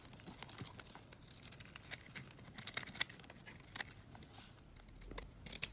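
A box-cutter blade scrapes a solid coral-red bar of soap, making quiet, dry, crackly shaving sounds. Many short, bright ticks and crinkles come in uneven bursts with little low end, and each dies away almost at once.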